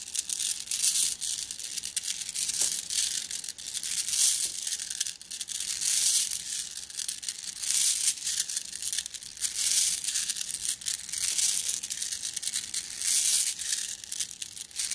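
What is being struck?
Flat glass gems in a plastic mesh bag.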